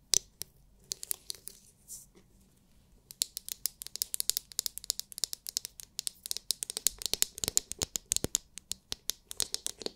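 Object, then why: Hard plastic massage brush dome. Long nails tap and scratch the hard, clear, glitter-filled plastic dome of a palm-sized oval massage brush. Sharp, bright clicks and scratchy crackles come in scattered bursts, then, after a brief quiet stretch, settle into a fast, steady run of crisp taps. Each tap is dry and dies away instantly, with almost no low end.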